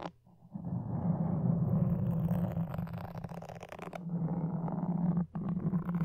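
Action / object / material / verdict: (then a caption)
scrape / foam microphone windscreen and wooden toothpicks / foam / none. Two thin wooden toothpicks, one in each hand, scratch, poke and drag across the soft, porous red-and-black foam windscreen covering a red microphone's hollow head, right at the capsule. After a quiet start, a dense, low, rumbling scratch fills the clip, muffled and boomy with almost nothing bright. It breaks off briefly near the end and then resumes.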